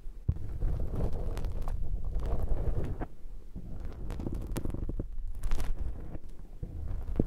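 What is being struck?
Foam microphone windshield scraped with a metal pick.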